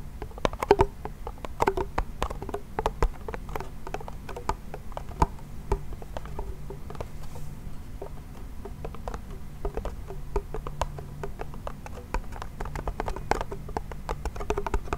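A small hollow wooden toy pellet drum has its membrane tapped with fingertips and nails, making a steady patter of quick, dry taps with a hollow tone. Brighter nail clicks stand out over a soft low hum, and each tap dies away almost at once.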